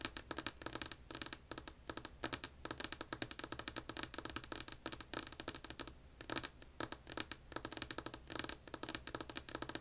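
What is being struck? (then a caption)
Wooden tabletop. Long polished nails tap rapidly with both hands on a solid, flat, light wood-grain tabletop, with an earbud mic lying on the table. The result is a quick, uneven stream of dry, bright clicks with almost no low end, each tap dying away at once.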